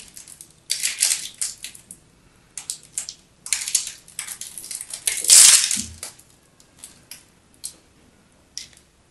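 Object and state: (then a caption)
Bar soap being cut. A utility knife cuts cubes and slices off the edge of a solid teal-and-white striped bar of soap held in the hands. Crisp, bright scraping and crunching bursts come in quick irregular runs, with the longest and loudest slice about two-thirds of the way through, then a few scattered short cuts fading out.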